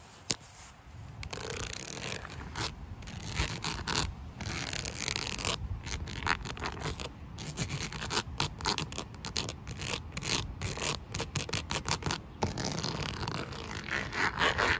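Long lilac nails scratch and tap across a flat black plastic panel with a dense dot-perforated texture lying outdoors on the ground. The result is a steady run of dry, gritty scraping with many quick, bright ticks scattered throughout, ending a little louder and hissier.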